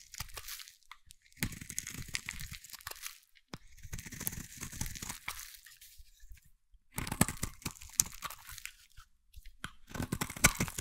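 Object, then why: Bar of soap scraped with a metal blade. A solid, hand-sized bar of green soap is scraped with a metal blade, giving dry, crunchy crackling strokes with a bright, gritty edge over a soft low rasp. The scraping comes in several separate bursts with short quiet pauses between them, each ending abruptly with no ringing.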